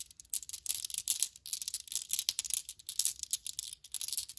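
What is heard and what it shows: Small solid glass marbles held in the hand are picked up with long-nailed fingers, then shaken and rolled together. They make a rapid, dense run of bright, high clinks and ticks, each dying away almost at once, with almost no low end.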